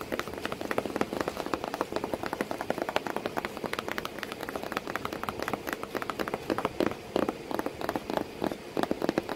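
Continuous rapid tapping on a cardboard box that holds a cat sitting inside. The taps are short and dry, with little ring, and their energy sits mostly in the low-mid range. They come in uneven bursts, with some louder accents, over the whole clip.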